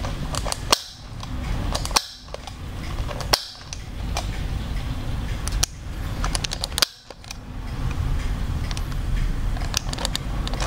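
Fingers click the eye-change mechanism on the hard plastic hollow head of an orange-haired Blythe doll held right next to the mic, and the eyes switch. Sharp, bright plastic clicks and ticks snap out over a steady low rumbling hiss. A few louder clacks stand out among many quieter ones, each dying away almost instantly.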